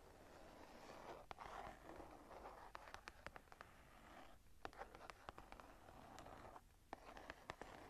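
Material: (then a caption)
Leather. Long nails tap and scratch the cover of a smooth brown leather-covered journal, held closed and upright in the hands. Soft, continuous scratching and rustling runs underneath a scattered series of sharp, quiet tapping clicks.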